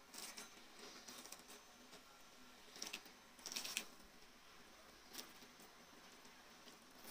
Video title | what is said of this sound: 100 Yıllık eskimeyen En Lezzetli Kadayıf tatlısı 🤩 Taş kadayıf nasıl yapılır? Püf noktalara DİKKAT🧐 | صدای ترقش میشنوید دوستان واقعا ترد